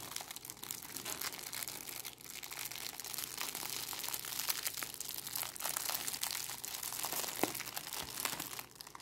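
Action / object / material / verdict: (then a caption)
scrape / clear plastic cellophane bag / plastic film / none. A small, bunched-up clear plastic cellophane bag is squeezed and crinkled between fingers with long nails. The result is a steady, dense stream of bright, crackling crinkles with sharp snaps, lasting about nine seconds and easing off slightly at the end.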